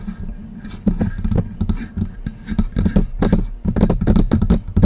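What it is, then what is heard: Metal microphone body tapped and scratched with nails. Long press-on nails tap and scratch the sides of a hollow silver metal desktop USB microphone near its mount knobs. The result is a close, irregular run of quick clicky taps with a low, hollow resonance around 180–200 Hz and bright, scraping edges between them.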